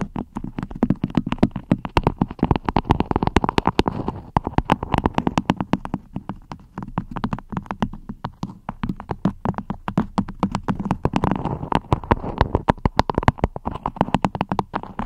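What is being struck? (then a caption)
Waxed cotton wrap over a microphone. Fingertips and long red-painted nails rapidly tap and scratch a floral cotton beeswax wrap stretched over a microphone. Close, dull, low-heavy taps come in a steady stream, with soft papery crinkling and scratching swelling in between. Each hit is short and dry with almost no ring.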